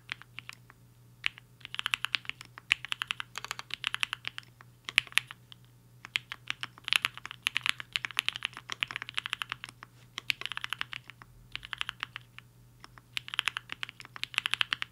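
Fingertips of both hands type on a black-cased 75% HI-FINGER 7.5 mechanical keyboard with a hollow case and white and pink plastic keycaps, resting on a desk mat. Quick, bright, clacky keystrokes come in rapid flurries separated by brief pauses, each tap short and dry. A faint, steady low hum sits underneath.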